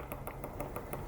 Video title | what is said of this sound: Best lock picking hacks ever.... | you can hear that tapping noise what's happening is the paper clip is tapping against that first wheel